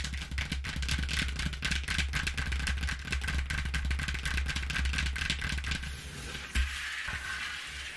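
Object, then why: Corrugated cardboard box. Long nails scratch rapidly across the panel of a flattened brown corrugated cardboard box bearing a recycling symbol, producing a dense, papery, bright scratching over a steady low hum. Near the end the scratching stops with a single sharper knock, leaving a quieter, airy hiss.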